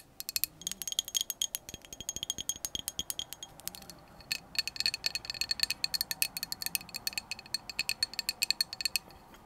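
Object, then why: Glass drinking tumbler with bamboo lid. Long acrylic nails tap and scratch a hollow clear glass drinking cup with a bamboo lid and glass straw, partly filled with liquid. Dense runs of quick, bright clicks and clinks sound with a high glassy ring that dies almost instantly, and there is a brief lull near the four-second mark.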